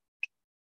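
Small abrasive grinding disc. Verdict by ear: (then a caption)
Sound. A small abrasive grinding disc, supported on a paint brush handle, is tapped once with a non-metallic object about 45 degrees from vertical in a ring test. It gives a single brief, bright tick with a clear tone centred near 2.6 kHz that dies away almost instantly. The clear tone shows there are no cracks in the wheel, since a crack would stop the vibrations from carrying through and give a dead tone.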